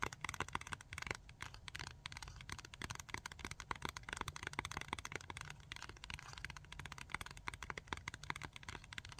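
Long fingernails rapidly tap and scratch a small rectangular plastic blister pack of Tack-It adhesive tabs, making dense, sharp clicks and crinkly scrapes. A steady low rumbling noise runs underneath throughout.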